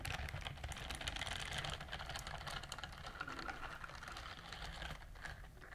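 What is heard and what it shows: Long nails scratch the bristle nubs on the palm of a pink silicone dishwashing glove worn on one hand, and the glove is rubbed between the hands. The result is a dense run of rapid, crisp scratching clicks with bright, rustling texture over a steady low hum, staying fairly even in level throughout.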